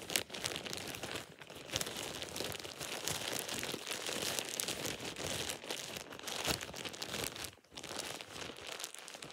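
A thin light-green plastic shower cap with an elastic edge is squeezed and crumpled with fingertips, giving a steady stream of bright, dense crinkling and crackling. Small sharp snaps stand out against the rustle, with a brief lull near the end before the crinkling resumes.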